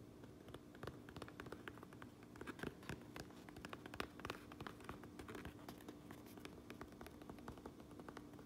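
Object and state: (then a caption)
Fabric cap being tapped and scratched. Long acrylic nails tap and scratch the sewn Uinta patch and red stitched brim of a hollow cotton-twill trucker cap with a black front panel, lying on a granite counter. Quiet, dense, irregular clicks and soft scratchy strokes patter across the whole clip, each dying away almost at once, over a faint steady low hum.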